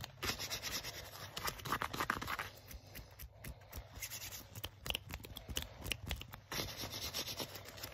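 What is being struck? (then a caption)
Leather jacket sleeve. Fingertips and nails rub and scratch quickly along the shiny sleeve of a worn black leather jacket. The result is a dense, bright, crackly friction texture with many short scratchy strokes and a steady low rumble underneath.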